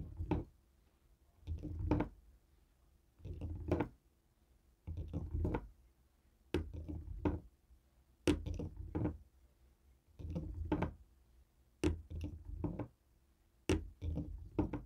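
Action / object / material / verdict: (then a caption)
tap / plastic TV remote tapped with a stone roller / plastic / none. A jade roller stone taps and rolls across the buttons and casing of a small black plastic Fire TV remote resting on a wooden table. Short, dull, low knocks and soft rolling rattles come in clusters about every two seconds, each dying away quickly with little ring.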